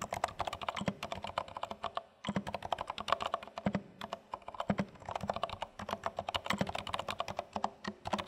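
Fingertips of both hands type steadily on a compact dark plastic HHKB Studio mechanical keyboard, producing a rapid, continuous stream of short, dry key clacks with a low thock beneath. The typing pauses briefly about two seconds in, then resumes at the same even pace.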